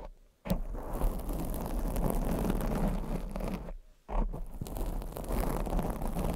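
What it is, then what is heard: Foam microphone windscreen scratched and tapped. Long acrylic nails scratch and tap on a black foam microphone windscreen, producing a dense, low, rumbling scratching texture. The sound briefly drops out twice, early on and near the four-second mark, then resumes just as steadily.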